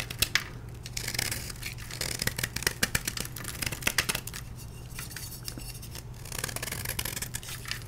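A solid dark-blue and orange dyed gym chalk block, held in hand, is scraped with a metal blade, shedding powdery flakes. Repeated bright, dry scraping strokes and sharp crumbly ticks come over a steady low hum. The strokes run continuously, with quieter stretches between bursts.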